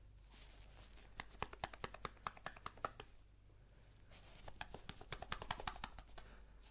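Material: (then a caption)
Cardboard. Gloved fingertips tap on a small, hollow, rectangular white cardboard Apple product box held in the hand. Two bursts of quick, dry, hollow taps ring out, each dying away almost at once, with a pause between them over a faint low hum.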